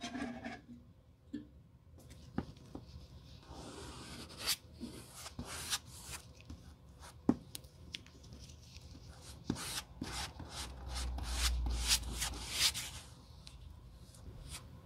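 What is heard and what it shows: A gloved hand uses a metal rod to rub and spread glue across a flat, solid black rubber sole blank lying on a white table, during a Birkenstock sole replacement. Irregular scraping and rubbing strokes carry a bright, hissy texture, broken by sharp little clicks and taps. A low rumble swells briefly near the end.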